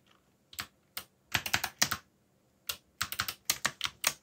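Fingertips type on a backlit mechanical keyboard with dark plastic keycaps, making 16 crisp, bright keystroke clicks in short, irregular bursts. Each click is sharp and dies away almost at once, with very little low end.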